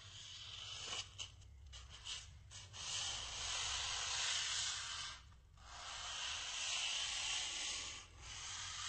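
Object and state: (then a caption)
Styrofoam block. A small, white, solid styrofoam block held upright is rubbed with the fingertips and palm, producing a bright, hissing, sanding-like friction sound. The rubbing comes in long sweeping passes separated by brief pauses, with almost no low end.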